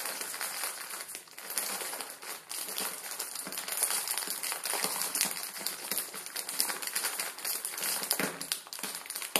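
A plastic film ramen noodle packet resting on a wooden table is pinched and crinkled with the fingertips. A steady stream of dense, bright crackling and crinkling runs throughout, with almost no low end and short, quickly fading snaps.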